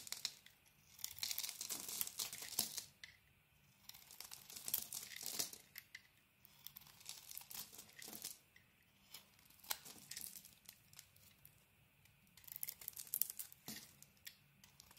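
A hand-sized solid rectangular bar of soap with a green checkered coating and cream core is held in the hand and shaved with a metal utility blade. Bursts of crisp, bright scraping and crumbly crackling come in repeated strokes, with quieter pauses between them.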